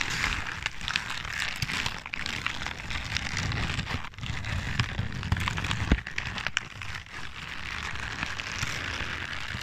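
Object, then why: Crumpled paper sheet. A large sheet of crumpled white-grey paper is held close to the microphone and crinkled and squeezed by hands. The result is a dense, continuous crackling with sharp bright crinkles over a low rumbling rustle and no clear pauses.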